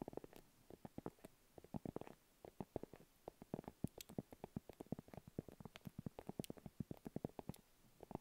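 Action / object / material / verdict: tap / padded faux leather makeup pouch / faux leather / none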